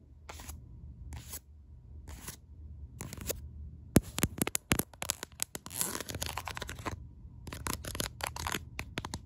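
Long acrylic nails tap and scratch the ribbed back of a black silicone case on a smartphone held in one hand. Short, bright scratching strokes come first at a steady pace, then break into a fast, dense run of sharp taps and rasping scrapes before settling into quicker scratching again. A low, steady hum sits underneath throughout.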